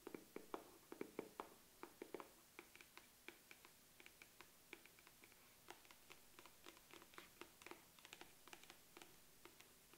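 Long acrylic nails tap and scratch on the flat lid of a medium-size, hollow black matte makeup case with metal corner guards, held in one hand. Dozens of quick, dry clicks with a hollow low-mid body and bright edges come in an irregular run, denser and louder at first, then lighter and steadier, with a faint scratchy hiss between taps.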